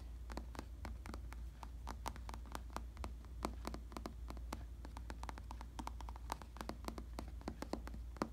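A black, solid-padded synthetic leather (vinyl) bicycle saddle is tapped and scratched with fingertips, making a rapid, uneven series of short, dry clicks and soft scratches. A steady low hum runs underneath throughout.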